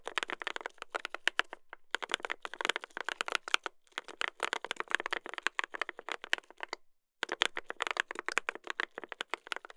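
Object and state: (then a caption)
Mechanical keyboard with brass plate and plastic keycaps. Two hands type continuously with their fingertips on a mechanical keyboard with a brass plate and plastic keycaps. The result is a dense stream of short, bright, clacky keystrokes with almost no low end and no ring, broken by brief pauses near 2, 4 and 7 seconds.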